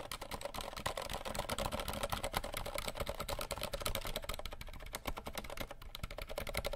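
Fingertips of both hands tap fast and aggressively on the keys of a compact 60% RGB plastic mechanical keyboard held behind the mic. The result is a dense, continuous clatter of short, sharp key clicks over a steady low thump, each hit dying away almost instantly.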